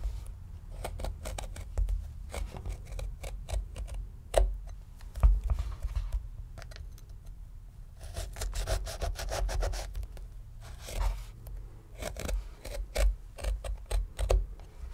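A small steel paring knife scores and scratches lines into the leathery rind of a medium, solid, whole red pomegranate held on a wooden board. Quick, dry scratches and short scrapes come in uneven bursts over a low, dull rumble, with a few sharper ticks standing out.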